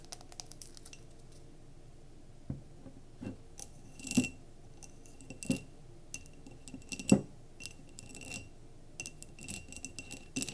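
Long nails tap and scratch the glass near the rim of a mason jar candle filled with solid wax, resting on a table. Quiet, irregular clicks and brief scratchy rubs are broken by a few sharper, louder taps that each give a short, bright glassy ring before fading quickly.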